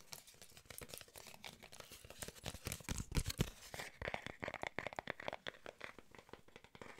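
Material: Paper card.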